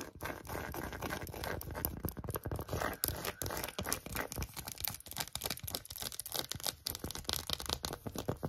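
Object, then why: Empty phone case with tweed fabric back and silicone rim. Long acrylic nails scratch an empty, small, hollow pink phone case with a tweed fabric back and a silicone rim. The result is a dense, continuous run of fast, crackly scratches with bright rasping texture and soft hollow low thumps underneath.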